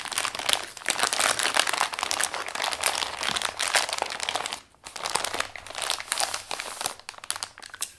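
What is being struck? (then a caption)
Kraft paper padded mailer. Fingertips and palms press, smooth and rub the surface of a flat Amazon brown kraft paper padded mailer holding a plate, resting on white paper. Dense, bright crinkling and crunching sounds continue throughout, with a brief pause near the middle.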